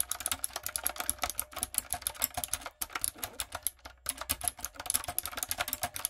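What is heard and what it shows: A typewriter-style plastic mechanical keyboard with round plastic keycaps that lights up is typed on with fingertips and long acrylic nails. The result is a rapid, steady stream of sharp, bright clicks and clacks. Two brief pauses break the flow, near the three- and four-second marks.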